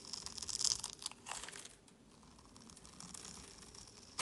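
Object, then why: Solid bar of soap. A metal utility-knife blade scrapes the cross-scored surface of a solid orange, palm-sized bar of soap held in the hand, crumbling off small cubes. Dry, bright crunching and crackling bursts come fast early on, then thin to a faint, gritty scrape before one last sharp crunch at the end.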